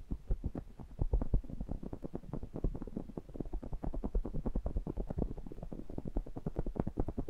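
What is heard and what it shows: Fingertips with short nails rapidly tap and rub the metal mesh grilles of two identical small pencil condenser microphones with metal bodies, held as a stereo pair. The result is a steady, irregular stream of short, dull low thumps with a deep rumbling body and brief scratchy contact noise, and no ringing.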